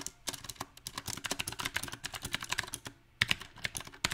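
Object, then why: Mechanical keyboard with round plastic keycaps. Fingertips of both hands type on a small 68-key backlit mechanical keyboard with round typewriter-style plastic keycaps on a silver metal plate. Quick, uneven bursts of bright, short clacky keystrokes rattle with almost no ring. A brief pause just before three seconds gives way to a few sharper, louder strikes.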